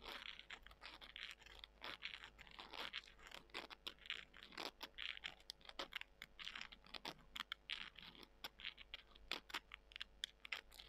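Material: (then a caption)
Dried soy. Long nails scratch and squeeze small, dry soy chunks, making a quiet, bright, crisp crackle. Dense runs of sharp clicks and crunches snap off with almost no ring, over a faint steady low hum.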